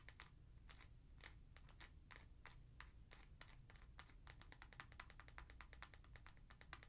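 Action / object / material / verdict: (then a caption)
tap / foam sneaker sole with plastic heel piece / foam / none. Long nails tap quickly on the heel of an Adidas NMD sneaker, striking its white foam Boost midsole and plastic heel plug. The result is a rapid run of short, dry clicks that speeds up over a low, steady background hum.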